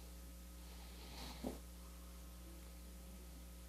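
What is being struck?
Nothing is struck.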